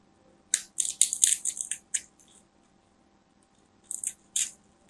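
A small black craft knife cuts and scrapes the surface and edge of a solid, palm-sized white bar of soap held in a hand with long nails. A quick run of short, bright, dry scratching strokes is followed by a pause and then a few more crisp scrapes.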